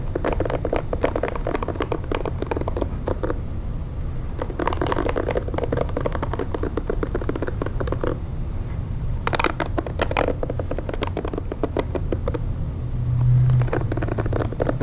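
Long nails tap and scratch over the bristle face and back of a pink plastic paddle hair brush, making a dense, steady stream of quick clicks and crackly scrapes. Brighter bursts of scratching flare up in places over a low, constant rumble, and the sound stays close and dry.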